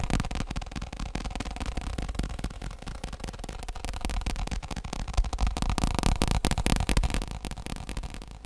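Fingertips and nails tap quickly on the top and rim of a tilted, round, padded black fake leather stool seat. The result is a dense, uneven patter of dull, muffled taps with a low, thumpy body and very little bright ring.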